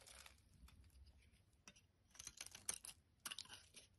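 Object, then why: Bar of soap. A utility blade shaves flakes off a solid orange bar of soap held in the hand. The carving makes quiet, bright, crisp scraping and crunching strokes, arriving in short bursts with brief pauses between them.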